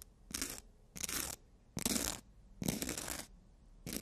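Nail edges are filed against the abrasive surface of a long black emery board. Four bright, raspy scratching strokes come in an uneven rhythm with short quiet gaps between them, and a fifth stroke begins as the clip ends.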